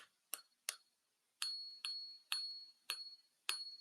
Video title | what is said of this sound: Silver + Gold Prices Down for Week, but Watch What’s Next | It's kind of pinging. ... it's a nice tone. There you go. It's a nice tone for sure.